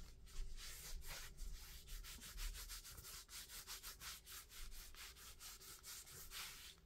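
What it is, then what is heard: Foam shoe insole being rubbed. A thin, flexible red-topped foam shoe insole is held in both hands while fingertips rub and scratch its surface. The result is a quiet, rapid series of dry, hissy scraping strokes over a steady low hum.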